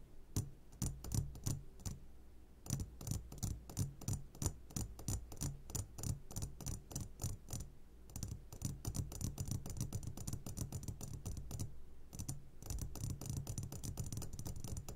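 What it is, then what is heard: Glass jar of candies. An upside-down medium glass jar full of sugared gummy candies is tapped on its sides with the short fingertips of both hands. The result is a fast, uneven stream of crisp, bright glassy clicks with almost no ring, over a steady low hum that thickens into near-continuous tapping in the second half.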